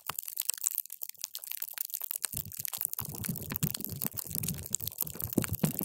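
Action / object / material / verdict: scrape / water gel beads in a plastic cup / gel / none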